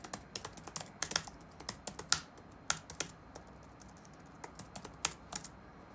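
Fingertips type on the black plastic keycaps of a dark laptop resting on a wooden desk, producing about 18 quick, bright, clicky taps at an irregular typing rhythm. Each tap is short and dry with almost no low end, over a faint, steady background hiss.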